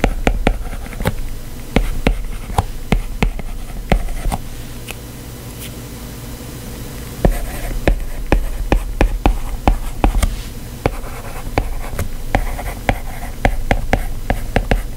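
A plastic stylus tip steadily taps and scratches across the solid glass screen of a white iPad while writing words. Many short, sharp ticks ring out over a low, dull scraping, with a quieter stretch of light scratching midway before the taps pick up again.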